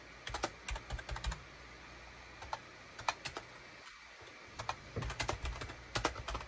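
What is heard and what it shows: Fingertips type on a full-size gray and beige SHIPADOO K600 wired USB keyboard with hollow plastic keycaps, tapping the keys in quick irregular bursts. The keystrokes give short, crisp clicks with a bright top and a soft low thump, then a brief pause before typing resumes at a denser pace.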